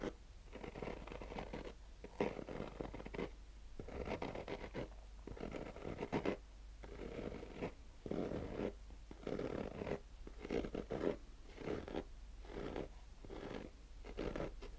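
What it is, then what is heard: Fabric-covered hard-shell sunglasses case. A fingernail slowly scratches the woven fabric of a black nylon-mesh, fabric-covered hard-shell sunglasses case, heard close up. Repeated raspy scratching strokes come in bursts with short quiet gaps, centered in the low-mid range with little bright content, over a faint steady low hum.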